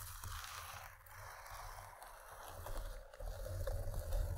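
Long nails scratch along the fabric surface of a long, padded paisley cloth pencil case with a zipper, lying on velvet. The result is a soft, continuous scratchy rustle with a low rumble underneath, growing slightly louder toward the end.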